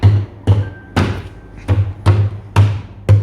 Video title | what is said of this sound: Glass Fruit Cake - Transparent Cake - Trending - Party Cake by Venus Rinith | slowly tap it until you hear the cake comes out